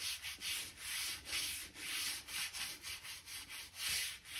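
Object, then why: Oak plank floor scraped with a stiff-bristle brush. A hand-held stiff-bristle gap brush scrapes along a seam between the planks of a solid oak floor, brushing out dirt and dust. The sound is a quiet, bright, hissy scratching in repeated back-and-forth strokes, about two per second, each swelling and fading with little low-end body.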